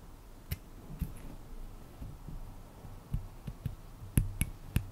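A small, flat, solid light-wood comb with fine teeth is held in both hands while fingertips and nails strum and scratch its teeth. Seven short, dull clicks stand out over a low, soft rustling, each with a faint bright tick at its edge, and the last few come closer together.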